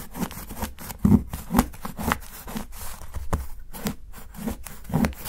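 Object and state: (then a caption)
Dark chocolate bar being shaved. A steel kitchen knife scrapes along the edge of a solid dark chocolate bar resting on a dark board and steadied by fingertips, shaving off fine shavings. Short, dry, irregular scraping strokes come roughly twice a second, with muffled low-heavy scrapes and a few louder crunching strokes.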